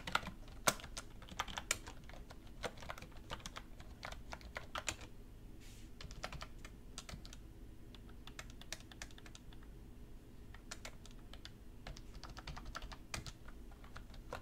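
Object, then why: Plastic computer keyboard. Steady typing with fingertips and long red nails on a black plastic computer keyboard resting on a wooden desk. A continuous stream of short, sharp, bright key taps is heard over a faint low background hum, with a few louder taps standing out near the start.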